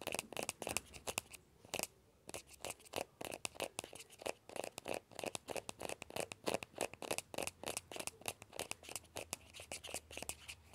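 Fingertips and nails scratch the shell of a small, hollow, orange plastic ball with a yellow stripe. The result is a quiet, fast, irregular run of dry scratching and tapping bursts with a bright, hollow ring near 2.6 kHz. There is almost no low end.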